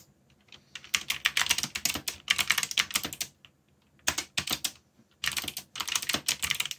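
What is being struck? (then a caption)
Mechanical keyboard with plastic keycaps. Fingertips, one of them bandaged, type rapidly on a full-size backlit mechanical keyboard with black plastic keycaps bearing Korean legends and hollow switch housings. Bright, clicky key taps come in quick bursts separated by short pauses, each tap sharp with almost no ring.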